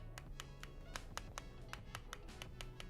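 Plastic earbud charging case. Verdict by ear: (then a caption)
Solid. The glossy plastic charging case of a budget Olike EJ1 Bluetooth 5.3 wireless earbud set is knocked 13 times to test its build quality, including the bottom part, producing short, dry, high clicking taps over soft background music. The case sounds solid rather than hollow.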